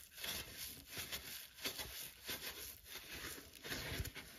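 A dry, palm-sized, soft rectangular yellow polyurethane foam sponge with a green abrasive scour pad layer is held and repeatedly squeezed and squished by fingertips and thumbs. Each squeeze gives a soft, crackly, bright rustling hiss with a faint low thump, in an uneven rhythm that swells and fades.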